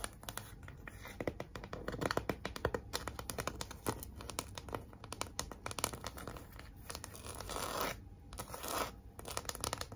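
Long nails scratch across the red glitter lettering and smooth surface of a large, flat, pink heart-shaped cardboard sign. Dense, rapid, dry scratches and crackling ticks overlap with a few brief, louder rasping swells near the end.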